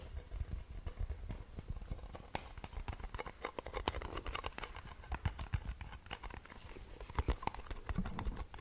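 A small round blue metal Nivea cream tin is held in the hands while its lid and sides are tapped rapidly with long nails. The result is a steady stream of short, dry clicks with a clip-clop-like rhythm, quick to die away and riding over a low, muffled rumble.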